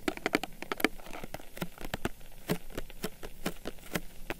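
Long nails tap and scratch a small printed cardboard box of Blendy cocoa drink sticks, hollow and holding sticks, held in one hand. A quick, irregular run of dry, hollow clicks and taps, with soft scratchy rustling between them, each hit dying away almost at once. The clicks sound bright and crisp over a faint low, papery body.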